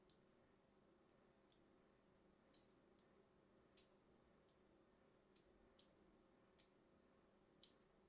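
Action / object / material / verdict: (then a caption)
scrape / bar of soap / soap / none. A thin metal blade cross-scores a solid, hand-sized, light green bar of soap held in the hand, with a scratching, cutting motion. Nine faint, short, bright clicks and scrapes come at irregular intervals over a steady, quiet background hum.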